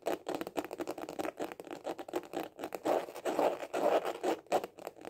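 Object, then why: Hard-shell glasses case. A small, hollow hard-shell glasses case with a white printed cover is held horizontally in both hands and tapped fast with the fingertips and short nails. The result is a quick, irregular patter of dry, hollow clicks with a scratchy edge, centred in the midrange with almost no low end. Each tap dies away quickly.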